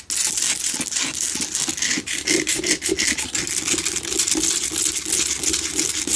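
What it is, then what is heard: Himalayan salt lamp. Both hands scratch and tap the rough surface of a small, lit, pink Himalayan rock-salt lamp with long acrylic nails; the lamp is a solid, hand-sized chunk with a cord, standing on a table in the dark. The result is a steady, dense, bright scratching and rasping with quick, dry taps layered throughout and a faint hollow tone near 300 Hz. Nothing rings on after the taps.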